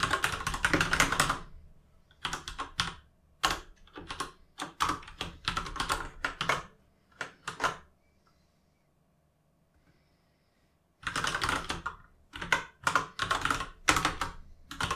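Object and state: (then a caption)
Plastic mechanical keyboard. Fingertips type on an RGB mechanical gaming keyboard with plastic keycaps, producing bursts of bright, clacky keystrokes separated by short pauses. The typing stops for about three seconds in the middle, then resumes in another quick run of clicks.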